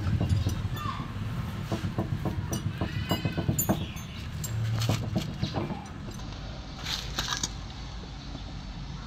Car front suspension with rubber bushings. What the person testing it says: inalog-alog po namin, may naririnig po ako na ingay. So ito po. Ay, malakas eh. Malakas nga eh.